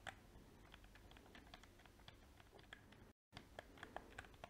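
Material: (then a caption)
Plastic. A small, hollow black PS4 plastic game controller has its buttons clicked and its shell tapped with painted fingernails. Quick, bright plastic clicks and taps sound in an uneven, typing-like run over a low steady hiss, broken by a brief full silence about three seconds in.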